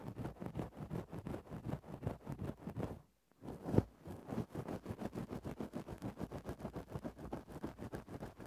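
A thin bamboo stick is scratched and poked into a grey synthetic-fur windscreen over a microphone. It makes a steady run of quick, muffled, low-heavy rustling strokes. The strokes break off into a brief silence, then return with one louder thump before resuming their even rhythm.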